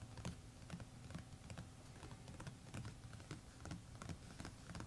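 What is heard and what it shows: A closed A5-size hardcover notebook with a textured, embossed red paisley cover lies flat on a map while both hands tap it rapidly with fingertips and short nails. The quick, soft taps give a dull, low thud with a faint bright click from the nails. The solid cover, backed by pages, keeps each tap short and muted.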